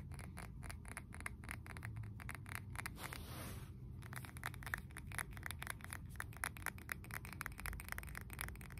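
Nails and fingertips tap and scratch the sides of a glossy blue glazed ceramic candle jar filled with wax and topped with a wooden lid. Quick, crisp clicking taps repeat steadily throughout, briefly giving way to a soft, hissy scrape just past the three-second mark before the tapping resumes.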